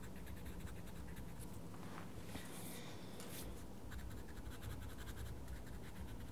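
A wooden coloured pencil scratches and colours on a paper page of a small paper colouring book. Quiet, steady scratchy strokes run throughout over a low rumble, with brief brighter swishes near the middle.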